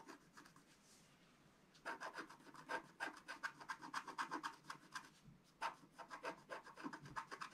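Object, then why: Scratch-art paper scraped with a wooden stick. A wooden stick scratches the lower stocking area of a flat, black-coated scratch-art sheet lying on a table, working in steady strokes. After a faint, quiet opening, a quick series of short, dry scraping rasps begins, each with a bright, papery edge centred around 1.6 kHz that stops almost instantly. A brief pause comes near the five-second mark before the strokes resume.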